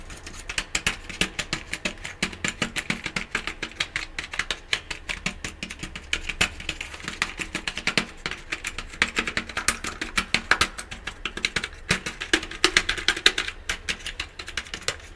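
A full-size, hollow, black plastic computer keyboard is held up in one hand while the fingertips of the other hand rapidly tap and press its keys. The result is a fast, uneven stream of short, bright, clicky keystrokes that die away almost instantly, over a faint low hum.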